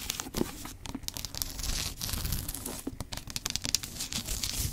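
Long acrylic nails scratch and tap along the ornate gilt-tooled spine, with red labels, of a thick, solid antique hardback with a brown leather cover, held upright and then sideways. The result is a dense, dry run of scratchy, crinkling rasps mixed with quick, sharp taps that stop almost instantly.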